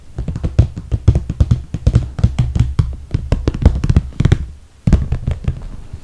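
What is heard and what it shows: Long red nails tap quickly on the top edge and zipper area of a medium, clear, soft PVC toiletry bag with holographic vinyl handles, full of makeup. The taps are short, dull and low-pitched, with very little ring. They come in a steady flurry with a brief pause just before the five-second mark, then resume.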